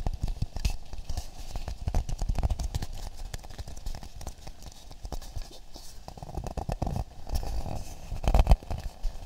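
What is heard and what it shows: An empty, hand-sized hollow half coconut shell is held close and tapped and scratched with fingertips and nails. The result is a dense run of quick, dull, low taps mixed with soft scraping, each tap dying away almost instantly. A few louder knocks come near the end.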